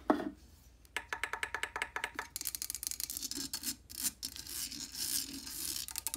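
Long painted nails scratch and rub directly on the hollow black metal mesh grille of a Blue Yeti microphone with a blue metal body, close up. A soft thump opens, then a quick run of crisp, bright ticks. These give way to continuous hissy, high scraping with a faint low-mid ring.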